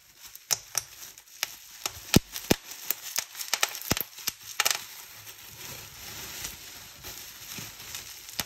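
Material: Plastic.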